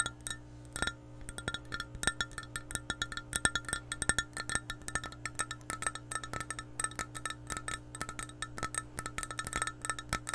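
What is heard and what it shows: An empty, hollow clear glass measuring cup is tapped with long painted nails in a rapid, uneven stream of light clicks for about ten seconds. Each tap gives a short, bright, chime-like ring centred near 1.8 kHz, over a steady low hum.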